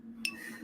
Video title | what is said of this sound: PLA isn't for Drones - FPV YOUR WORLD TUESDAYS - how to successfully 3d print for RC and Drones. | Hear the ring? That's the PPS.